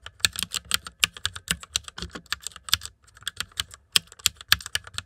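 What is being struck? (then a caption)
Plastic mechanical computer keyboard. Fast typing with fingertips on the plastic keycaps of a white plastic mechanical computer keyboard produces a rapid, uneven stream of short, bright clicks with almost no ring. A brief pause comes midway before the typing resumes.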